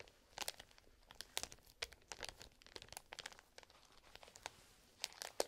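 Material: Plastic.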